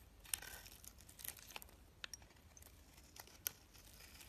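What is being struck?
Solid soap bar cut with a metal blade.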